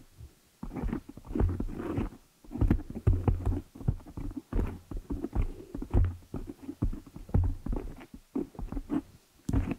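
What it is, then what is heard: Foam microphone windscreen. Long nails scratch and tap the black foam windscreen on a large desktop microphone head. The result is a dense, irregular run of muffled, boomy low thumps mixed with soft rustling scratches, each hit dying away quickly.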